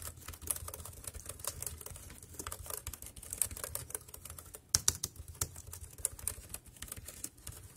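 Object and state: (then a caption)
Plastic computer keyboard. Fingertips tap the keys of a dark grey compact plastic wireless keyboard resting on a plastic sheet, producing a fast, irregular stream of short, bright clicks. Each click is crisp and dies away almost instantly, over a faint low hum in the background.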